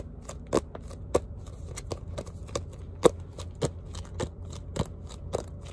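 A small spiral notebook with a printed cardboard cover and metal spiral binding is held up and its cover tapped and scratched with fingertips and short nails, possibly with pages flicked. Short, dry, clicky taps with bright edges land at an uneven pace over a soft, low scratchy rustle, each tap dying away almost instantly.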